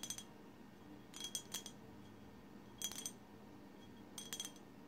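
A colorful glass bottle is tapped with long silver acrylic nails. Four short bursts of quick, bright clinking taps ring briefly around 3.3 kHz, with a quiet steady hiss between them.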